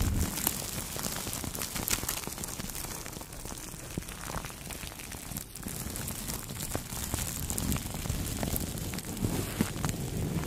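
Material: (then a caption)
Plastic film. Two makeup brushes rub across clear plastic cling film wrapped around the head of a Blue Yeti microphone, making a continuous crinkly, crackling rustle. Quick irregular scratches add bright edges over a dense low rumble for the whole clip.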